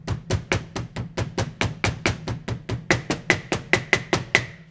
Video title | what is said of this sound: Acura CL - K swap - EP: 8 Acura RL calipers rebuild BBK | you'll hear the difference you hear that so that's how i know i'm all the way down